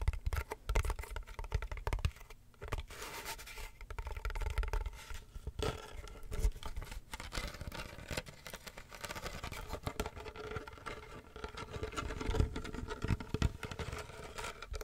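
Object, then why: Wicker basket box with a textured lid. Fingernails scratch and tap across the black textured lid and woven wicker rim of a medium hollow wicker basket box. Continuous dry, rustling scratches mix with quick, dull taps that carry a hollow low thump and die away almost instantly.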